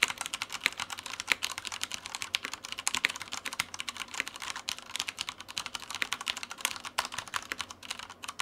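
A black tenkeyless Typhon Mars Pro mechanical keyboard with Cherry brown switches and plastic keycaps, resting on a white desk, is typed on continuously with the fingertips of both hands. A rapid, steady stream of short, bright, dry key clacks sounds with almost no low end, each press dying away at once.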